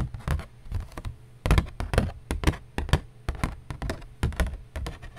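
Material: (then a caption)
Cardboard. A piece of cardboard is tapped in an irregular run of about 24 quick, dull taps over five seconds. Each tap is a short, low thud that dies away almost at once.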